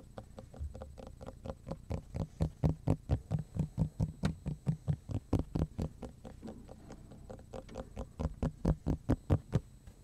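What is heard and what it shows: Fingertips and nails tap and scratch the face of a large, flat, solid black plastic cutting board with a scratched surface, held in both hands in front of the chest. A quick, somewhat uneven run of short, dry, low thumpy taps with brief scratchy clicks follows, with no ring after each hit. The taps swell louder in the middle and again near the end.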